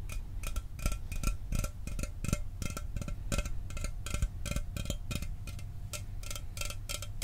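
A sealed, hollow 12 oz Mountain Dew aluminum soda can is tapped rapidly with fingernails while held in the other hand. It gives a steady stream of sharp, bright metallic clicks with very short ring, over a constant low hum.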